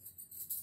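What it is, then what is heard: Bangles shaken. Bangles are shaken to make a sound for a blindfolded child to guess, giving a quiet, bright jingling with a shimmering high rattle and little low end. The soft clinking swells and fades in short pulses over the brief clip.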